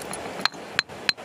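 A small red stone found in a field is struck three times, each hit giving a short, bright, high-pitched clink that stops almost at once. The hard, ringing tone marks it as a hard, dense stone.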